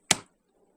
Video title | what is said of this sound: Ringing Rocks | that sure just sounded like a regular rock